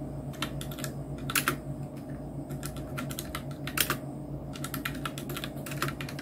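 Fingertips of both hands type on a full-size black Nubwo Illusion NK-70 mechanical keyboard with Outemu red switches, round plastic typewriter-style keycaps and a blue backlight. A quick, uneven run of short, bright plastic clacks rises over a steady low hum, with a few louder strikes standing out. Each click dies away almost at once.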